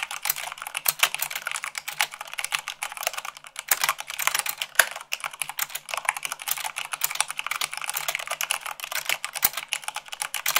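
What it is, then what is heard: Plastic mechanical keyboard. Fast typing with fingertips and long nails on a black plastic mechanical keyboard with white plastic keycaps produces a continuous, dense stream of sharp, bright clicks and clacks. Each keystroke is short with almost no ring, and there is no low-end body beneath the crisp, high-pitched chatter.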